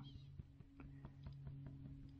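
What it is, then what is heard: Steel machine gib sitting flat and solid. A steel Bridgeport knee gib, lying on a good flat surface, is tapped along its length to check that it is flat and straight. A series of quiet, dull, short taps with no ring sounds over a steady low hum, with a louder knock at the very end. The gib sounds really solid, showing it is flat and seated evenly.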